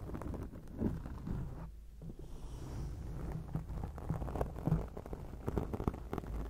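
Long acrylic nail tips scratch a black foam microphone windscreen, making a steady, muffled rustling scrape that is deep and boomy with almost no high end. Quick scratching strokes run continuously, with a brief quieter gap just before the two-second mark and a few sharper strokes standing out near the middle and end.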